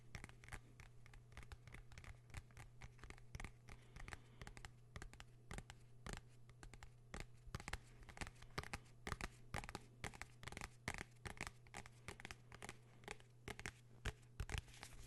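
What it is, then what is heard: Hardcover notebook. A blue hardcover notebook is held in the hands while fingernails scratch and tap its cover and spine. The result is a dense, quiet stream of sharp clicks and scratchy rasps over a steady low hum.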